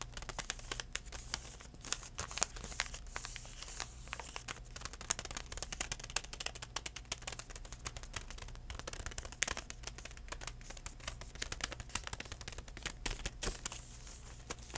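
A DenTek plastic floss pick pouch is tapped and crinkled with fingertips, giving a dense, continuous stream of sharp, bright crackles and soft taps over a steady low hum. The crinkling holds at a fairly even, quiet level throughout, with occasional louder snaps standing out.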